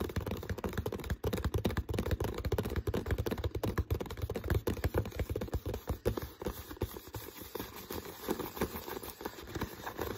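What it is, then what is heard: Empty plastic water bottle. Fingertips tap and scratch the plastic body and shoulder of an empty, hollow, clear PET water bottle with a dark green label and no cap, held close. The result is a dense, irregular stream of quick, dull taps with a low, hollow thump, mixed with scratchy rustling. Each tap dies away almost at once, and the stream eases slightly toward the end.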